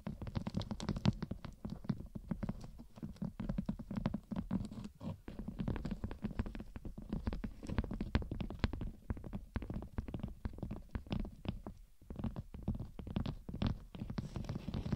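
Long red and gold nails scratch and tap with both hands on the top edge and outer surface of a thin, flexible gold glitter foam sheet curved like a hood around a glitter mannequin mic head. The result is a dense, continuous run of soft, low, muffled scratching and tapping with quick, crisp flicks throughout, with no pauses.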